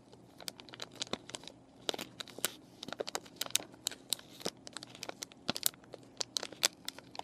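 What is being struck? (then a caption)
Plastic and cardboard paintbrush package. Fingernails and fingertips crinkle and scratch the clear plastic of a plastic-and-cardboard paintbrush package, with the brushes inside and the plastic partly lifted. The sound is a quiet, rapid series of sharp, bright crackles and ticks over a soft, airy hiss, each one dry and stopping at once.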